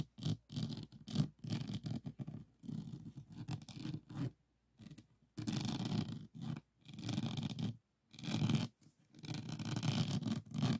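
Fingernails of both hands scratch across the plastic resin drills of a small, rigid, framed diamond painting lying on a wooden table. Bursts of dry, raspy scraping come in uneven strokes, some short and quick, others longer and sustained, with a low hum underneath and near-silent pauses between.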